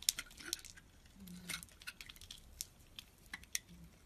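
A utility knife blade scrapes and cuts flakes off a solid orange and white bar of soap held in the hand. Quiet, bright, crisp scraping ticks and clicks come in an uneven series, each dying away almost instantly, with a faint low tone in the background.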